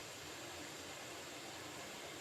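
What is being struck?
Nothing is struck.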